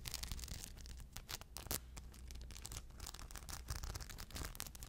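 Long blue nails scratch across the surface of a crescent rhinestone shoulder bag held up by its strap. The scratching is dense and continuous, a bright, crackly rasp of many small clicks over a low rumble, with sharper bursts standing out from the steady texture.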